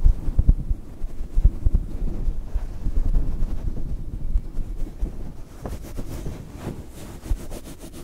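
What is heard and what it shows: A fluffy grey-white faux fur windscreen covering a small microphone is rubbed and scratched by the fingertips of both hands. The sound is a dense, muffled low rumble with irregular soft thumps and crackly brushing, sitting almost entirely below 200 Hz. It is strongest in the first seconds and settles into a quieter rustle toward the end.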